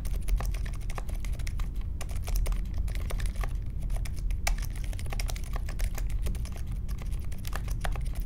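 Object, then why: Mechanical keyboard with metal case and plastic keycaps. Fingertips type steadily on the plastic keycaps of a compact Polaris mechanical keyboard with a metal case and Silent Alpaca switches, resting on a marble desk. The result is a dense stream of soft, short, muted clicks that die away almost instantly, over a steady low rumble.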